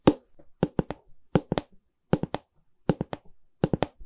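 A medium, hollow pine canvas stretcher frame with a canvas back is held by the side while long red nails and fingertips tap its wooden bar and back. A single tap is followed by repeating runs of three quick taps, each a dry, hollow knock with a low-mid body and almost no ring.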